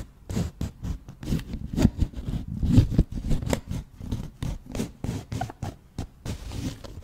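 Long nails scratch and tap the surface of an empty, hollow, round white cardboard flower box as it is tilted in the hands. About 18 dull, low-heavy scraping and tapping bursts follow one another at an uneven pace, each fading quickly with almost no ring.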